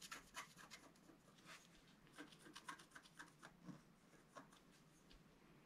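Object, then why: Wax-coated scratch-art card scratched with a wooden stylus. A pointed wooden stylus scratches lines into the black coating of a flat scratch-art card, about A4 size, lying on a table and held down by one hand. A quiet series of short, dry, bright scratching strokes rises and falls, some with a faint squeaky edge around 1 kHz, over a soft rasping background.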